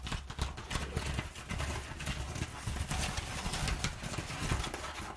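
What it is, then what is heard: Crumpled kraft packing paper. Long nails scratch a crumpled, perforated brown kraft packing paper sheet on a table, and hands rub and pat it flat. The sound is a continuous dry crinkling and scraping with bright rustle on top, punctuated by soft, low, dull thumps from the patting.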